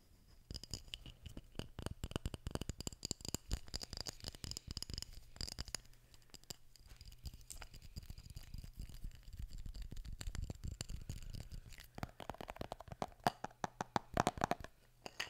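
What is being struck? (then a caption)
Small glass jar with metal lid holding dried items. Fingertips tap and scratch a small glass jar labelled LOVE, with a metal lid, filled with small dried items, while the jar is tilted so the contents may shift. Dense, quick clicks and scratchy patter run throughout over a faint low hum. Toward the end, sharper taps bring out a ringing tone around 700 Hz.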